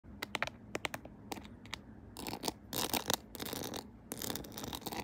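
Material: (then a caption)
Plastic. Long acrylic nails tap and scratch the back of a phone in a clear plastic case decorated with a pearl and rhinestone Hello Kitty and gems, with the phone mounted on a tripod. Sharp, bright clicks come first, then denser, hissy scratching bursts across the case and its decorations.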